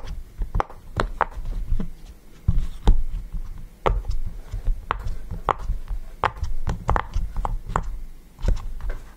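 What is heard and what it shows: Fingertips press and pop the hollow bubbles of a yellow, round silicone push-pop fidget toy resting on a table. The result is a quick series of short, dull pops and soft taps with very brief decay, mostly low in tone, with occasional brighter clicks over a low background rumble.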